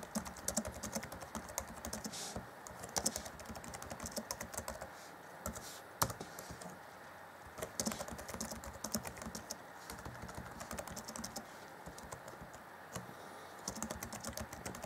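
Fingertips of both hands type on the black plastic chiclet keys of an Acer Chromebook C20 (2014) laptop keyboard. The result is a steady stream of quick, light, bright clicks with very short decay, and a few sharper, louder key strikes stand out from the run.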